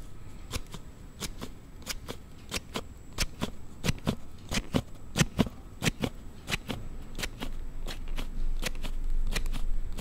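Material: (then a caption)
Plastic. A Note7 smartphone in a hard plastic sliding case is slid open and shut by fingertips in front of a Zoom recorder, and the case makes an abnormal sound. About 28 sharp, bright plastic clicks snap out at a loose, uneven rhythm, each dying almost instantly. A low rumble sits underneath, with a faint steady high tone running throughout.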